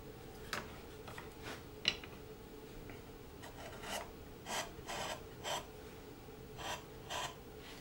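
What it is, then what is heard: Basswood carving blank being pared. A long flat chisel scrapes and pares along a solid basswood carving blank, a Santa figure held in the hand. Short, dry, bright rasping strokes come one after another with brief pauses between them, over a faint steady background hum.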